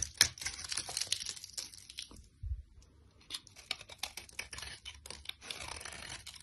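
A solid rectangular orange soap bar, held in a hand with long lilac nails, is scraped with a utility knife blade into fine, crumbly shavings. The sound is a bright, dry, crackling scrape made of rapid short bursts, with a brief quiet pause midway before the scraping resumes.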